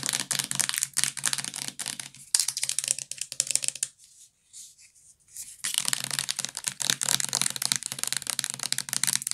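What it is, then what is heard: Plastic bath liquid bottle. Long nails tap rapidly on the plastic body of a medium-size purple Johnson's bath liquid bottle with a white cap, full of liquid. The sound is a dense run of crisp, bright clicks with little low end. The tapping pauses briefly near the middle before resuming.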